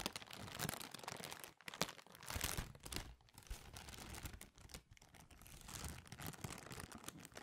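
A clear, thin, empty plastic bag is crumpled, stretched and crinkled by hand close to the microphone. It makes a continuous, quiet crackling rustle with bright, hissy highs and soft low thumps, swelling and easing in uneven bursts with brief pauses.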